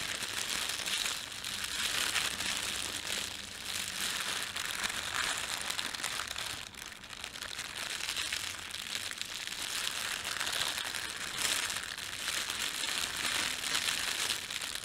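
Fingertips pinch and crumple the film of a thin red printed plastic bread bag. A steady, dense, bright crinkling and crackling runs throughout at a fairly even level, with almost no low end.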